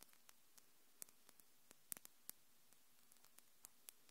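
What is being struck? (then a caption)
Acrylic fingernails. Long pink acrylic nails with hard, thin purple glitter tips are tapped and clicked against each other by both hands above a Tascam recorder, which is not touched. Seventeen quiet, sharp, bright clicks with almost no ring come at an uneven, rapid pace over a faint steady hiss.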